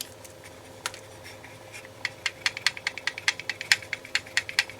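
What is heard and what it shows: The white accelerometer from a 2000–2001 Acura Integra airbag module is shaken by hand, and the small magnet on a spring inside its coil rattles. After a faint, sparse start, a quick run of sharp, bright, high-pitched clicks builds up and keeps going to the end. This rattle is normal: the magnet moves through the coil in a collision to make the signal that decides whether the airbag deploys.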